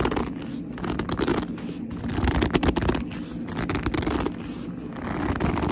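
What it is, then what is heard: Leather handbag, scratched and gripped. Long almond-shaped nails grip and scratch a medium black leather handbag with a soft, hollow body. A continuous run of squeaky gripping and rustly scratching carries a low, muffled body with only a little brightness. Its loudness swells and dips without clear gaps.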